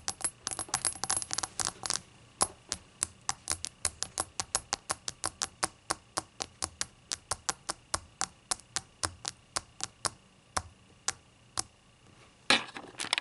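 A small hollow glass/ceramic shot glass with a glossy opaque rainbow glaze, lying on a towel, is tapped and clicked with the tips of long green acrylic nails. A quick flurry of taps opens, then settles into a long, steady run of sharp, bright clicks that stop almost instantly with little ring. A brief scratchy burst of fidgeting comes near the end.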